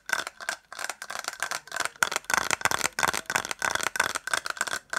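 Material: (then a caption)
Plastic. A small white hollow plastic case, held in the hands, is tapped and scratched quickly with fingertips and nails and rattles slightly. Bursts of dry, clicky tapping and scraping repeat throughout, with a steady tone near 1.4 kHz, bright high hiss, almost no low end and no ring after each tap.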